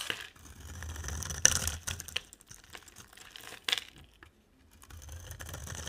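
A box cutter blade scrapes shavings off the face of a dry, solid, pale green oval soap bar with a dark rim, palm-sized and held in hand. Bright, crisp scraping and crumbly crinkling come in bursts with a few sharp peaks and no ring. The scraping briefly falls silent before resuming softly.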